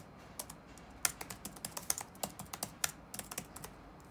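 Fingertips type on the black plastic keycaps of a dark laptop resting on a wooden desk. About 17 short, bright, clicky taps land in an uneven rhythm, each dying away almost instantly with very little low end. Some keystrokes strike noticeably harder and sharper than others.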